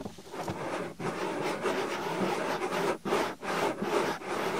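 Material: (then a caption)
Silicone. Long-nailed fingers pinch and rub the flap of a white, soft silicone binaural microphone ear. The result is a fast, continuous rubbing scrape with a broad mid-range texture. Brief dips around one, three and three and a half seconds break up the strokes.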